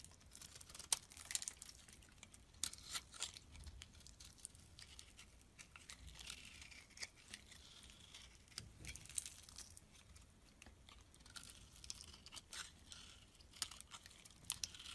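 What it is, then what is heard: Soap bar being shaved with a blade. A utility knife blade shaves strips off a solid purple soap bar held in the hand. The quiet, bright, crisp scraping and crackling carries many short, sharp clicks and bursts of shaving noise over a steady faint hiss, with almost no low end and no ring after each cut.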